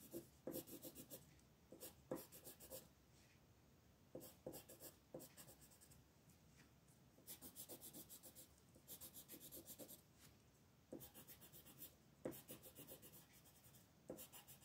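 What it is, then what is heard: Colored pencil shading on paper. A colored pencil, held by a hand with long red nails, rubs and shades across a flat paper coloring-book page lying on a table. It makes scratchy back-and-forth strokes in quiet bursts of bright, papery rasping, separated by short pauses.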